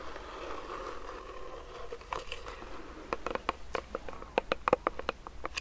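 Fingernails scratch and tap quickly on the sides of a medium clear plastic hand sanitizer pump bottle filled with gel. The first half is a soft, steady scratching hiss, then it shifts to rapid, irregular, dry clicky taps with a hollow, slightly pitched plastic tone and no ring after each hit.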